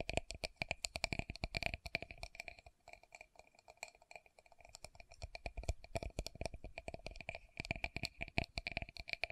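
Long nails tap quickly on a small, round, clear pinkish plastic Estee Lauder loose powder jar held in both hands, striking its body and base. The result is a rapid stream of sharp, bright plastic clicks with a faint hollow ring near 700 Hz and 2.5 kHz. The tapping eases into a softer, sparser stretch midway before picking up again.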